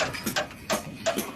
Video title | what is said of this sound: d.i.y repair Ng Nissan pickup | pinupukpok ko yung mga bakal kung maraming kalawang. At ito nga, hindi ako nagkamali.